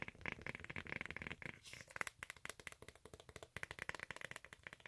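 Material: Synthetic cork.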